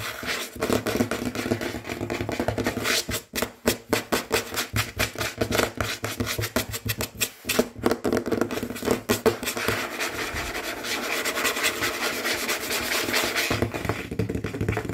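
Fingertips and short nails of both hands tap quickly and hard on a large, solid, dark glossy tabletop that appears to be wood or wood veneer. The result is a fast run of dry, clicky taps with almost no ring, brief pauses around the middle, and then a denser, steadier scratchy texture toward the end.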